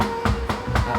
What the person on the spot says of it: ตัวเครื่องเป็นสแตนเลส2ชั้นนะครับสังเกตเวลาเคาะจะทึบๆเลยนะ